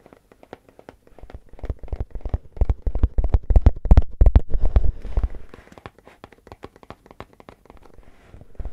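Fingernails rapidly tap and scratch the top rim and lid of a composite cardboard crisp can with a metal rim, held in the hands. A fast, irregular run of short, dry, low-pitched taps with quick scratchy flicks builds to its loudest and densest in the middle, then thins to lighter, quieter tapping toward the end.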